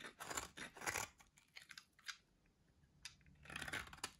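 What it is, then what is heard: Dry soap bar being shaved. A solid, dry white soap bar held in the hand is shaved and carved with a metal box-cutter blade. Quiet, dry, crunchy scraping bursts sound bright and hissy with almost no low end. A dense cluster of scrapes opens the clip, sparser smaller scrapes follow, and a thick run of crunchy carving returns at the end.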